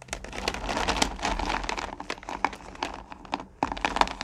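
Long-nailed hands dig into and spread their fingers across small, solid pumpkin candy corn in a purple plastic pail, making a dense, continuous rattle of crisp clicks and crinkly shuffling with bright, sharp ticks on top. The clatter swells and fades with the hand motions, dips to near quiet for a moment late in the clip, then picks back up with fresh clicks.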